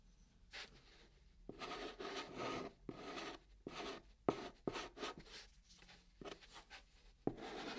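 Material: Cardboard.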